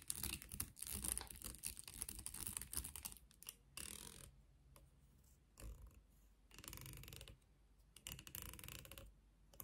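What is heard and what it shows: Long nails strum and scratch the teeth of a light, solid wooden comb with a long handle, making rapid, dry, crackling clicks. The first four seconds are dense and bright, then it breaks into shorter bursts separated by quieter gaps.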